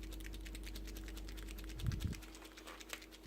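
A new green plastic chalk ink marker pen is shaken before first use, and the agitator ball inside rattles to mix the chalk ink. Rapid, fine clicking rattles run throughout over a low hum, with a couple of louder knocks near the middle.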